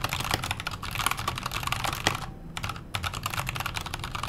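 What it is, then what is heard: Mechanical keyboard being typed on. Fingertips type continuously on a backlit KONO Kira mechanical keyboard with Halo Clear switches, a silver aluminum case and white and grey plastic keycaps. Its quick, crisp clacks carry a bright top and a low thock. The typing pauses briefly just past the midpoint, then resumes at a steady pace.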